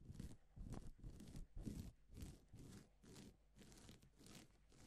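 Blue-gloved hands rub and brush a flat sheet of reversible plastic sequin fabric with palm and fingertips. Soft, crinkly scratching strokes repeat about twice a second, each with a dull low rustle and a bright hiss. The strokes grow slightly quieter toward the end.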